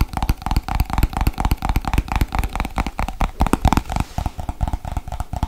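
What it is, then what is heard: Plastic cream jar. Long white nails tap rapidly on the lid and base of a small, hollow white plastic Nivea cream jar. The result is a fast, dense run of short, hollow, thumping clicks with a low, boomy body and a faint mid-range resonance. Each tap dies away almost instantly.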